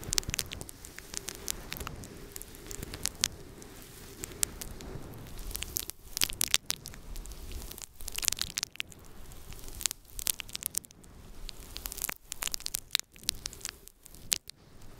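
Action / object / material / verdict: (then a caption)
scrape / faux fur microphone windscreen / faux fur / none. A small, soft, fluffy grey-white faux fur microphone windscreen is rubbed and scratched with fingertips and long painted nails. The result is a dense, close crackling rustle with sharp, bright scratch bursts over a low, muffled rubbing rumble and a faint steady hum.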